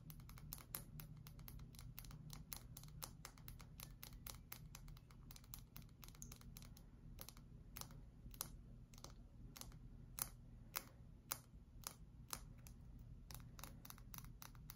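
Long acrylic nails tap and scratch quickly on a solid oval bar of cream-colored soap held in both hands. A rapid run of sharp, bright clicks over faint scratching, with a few louder taps standing out above a steady low hum.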